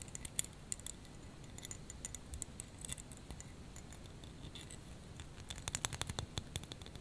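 Fingernails scratch and tap a small clear plastic snowflake ornament hanging on a hanger. Quiet, irregular bright clicks and crisp scratchy ticks die away almost instantly over a soft low rumble. The taps grow denser and slightly louder near the end.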